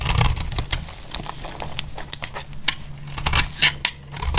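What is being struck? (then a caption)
Bar of soap shaved with a blade. A utility-knife blade shaves curls from the edge of a solid, dry pink bar of soap held in the hand. It makes a series of short, crisp, bright scraping cuts that stop dead, over a steady low hum.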